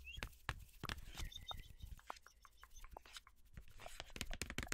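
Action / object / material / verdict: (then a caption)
tap / cardboard box of parchment paper / cardboard / none. Long nails tap and scratch a long, hollow, tube-shaped yellow cardboard box of parchment paper. Quick, irregular dry taps mix with brief scraping rasps and faint squeaks over a low background hum. The hits are short and papery, with almost no ring.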